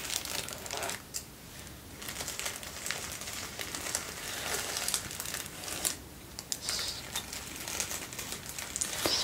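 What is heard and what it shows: A folded sheet of thin white tissue paper is held close to the camera and crinkled and squeezed by fingertips. It gives dense, bright crinkling and rustling with sharp little crackles, broken by a few brief quieter pauses, and has almost no low end.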